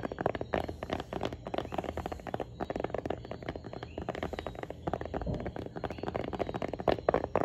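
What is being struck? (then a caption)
Tablet in a hard plastic folio case. Long painted nails rapidly tap and scratch a tablet in a light blue plastic folding smart-cover folio case held up in both hands. The clicks are hard and hollow-sounding, centered in the mids with short, dry decay. A steady low rumble runs underneath.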